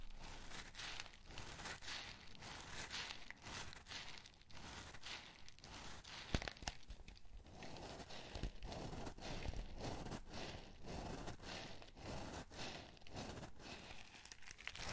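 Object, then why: Small cardboard candy box. Fingertips and short nails tap and scratch a small printed cardboard Nerds candy box, likely holding candy, held close in both hands. Quiet, dense scratching and soft crinkly taps come in a steady rapid stream, full and low-heavy with some bright rustle on top, plus a few sharper clicks near the middle.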